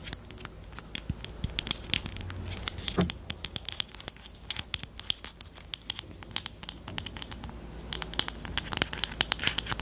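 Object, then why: Plastic highlighter pen. Long teal nails tap and scratch along the barrel of a small, hollow pastel pink plastic highlighter with a black cap, held horizontally. Quick, crisp, bright clicks come in an uneven stream over a soft scratchy rustle, each tap dying away almost instantly with no ring.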